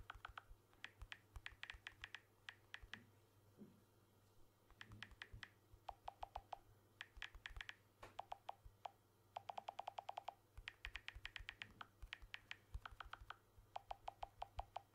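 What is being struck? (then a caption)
Smartphone with glass back and aluminium frame. Fingertips rapidly tap the aluminium edge and glass back of a blue smartphone with an aluminium frame, held edge-on. The result is quick bursts of short, dry clicks with brief pitched tones around 750 Hz and 2 kHz, over a faint steady low hum.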